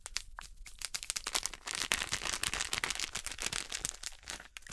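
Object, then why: Plastic foil snack bag. An orange printed plastic/foil snack bag is crinkled and crumpled in fingers with long nails. It makes a dense, continuous stream of bright, crisp crackles and crunches, with almost no low end and sharp, quickly fading snaps throughout.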